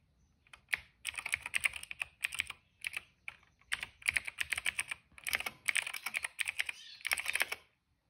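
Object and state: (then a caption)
Plastic mechanical keyboard. Fingertips type on a cream plastic mechanical keyboard with black, purple and yellow keycaps and a hollow case. Bright, crisp clacks around 2.3 kHz come in quick bursts of rapid keystrokes with short pauses between them. Each click stops almost at once, and the clip ends in silence.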